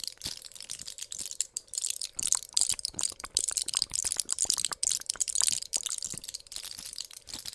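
A small, flat pill blister pack of clear plastic bubbles on an aluminium foil backing, filled with white pills, is held in both hands and pressed, crinkled and tapped with long pink nails. Dense, bright crinkling and crackling is broken by many sharp, dry clicks and taps that stop almost at once. A faint steady hum sits underneath throughout.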